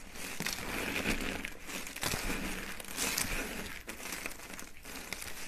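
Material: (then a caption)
Soap. Thin, hollow, dry peach and white soap curls resting on a mat are crushed by hand into small flakes. The result is a steady, dense crinkling crunch with bright, crackly texture throughout, broken by brief dips between handfuls.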